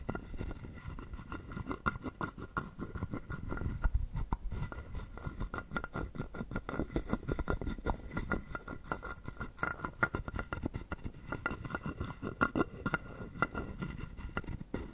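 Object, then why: Carved wooden frog guiro and wooden stick. A hollow carved wooden frog guiro held in the palm is tapped and scraped rapidly with a wooden stick along its ridged back. The result is a dense, continuous stream of short, dry wooden clicks and rasps with a low, hollow body and very little high-end brightness.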